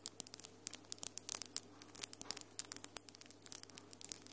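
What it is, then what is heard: Acrylic nails tapping together. Long, solid acrylic nails with glitter polish tap and scratch against each other, making a quick series of about 26 sharp, bright clicks with faint scratchy rasps between them. Each tap is very short and dry over a quiet, steady low hum.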